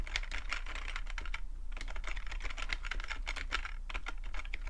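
Short-nailed fingertips type rapidly on a full-size black plastic computer keyboard with a hollow plastic body, seen close up. A dense, continuous run of short, crisp plastic clicks and clacks, bright around 2 kHz, sits over a steady low hum.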